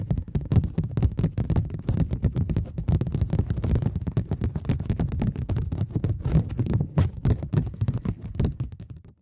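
A thin plastic polymer £20 banknote is flexed, bent into a curve and crinkled with the fingertips and long nails, with quick tapping and snapping. The result is a dense, continuous stream of short, sharp crackles and snaps, with most of the energy in a low thump under bright, crisp transients.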